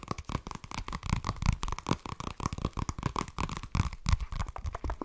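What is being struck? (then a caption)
Spiral-bound notebook with cardboard cover. A flat spiral-bound notebook with a cardboard cover, held close to the microphone, is scratched and tapped with fingertips and nails. The result is a dense run of short, dry scratches and soft taps, mostly low and thumpy, with a steady scraping band around 1 kHz and little high content.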